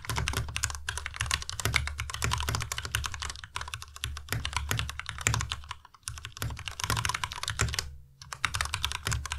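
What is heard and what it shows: Both hands type fast with their fingertips on a white tenkeyless Ducky Miya Pro mechanical keyboard with plastic keycaps and Cherry MX Red switches. The result is a dense, steady stream of short, bright clacks over a low thocky body. There are brief pauses near the six- and eight-second marks.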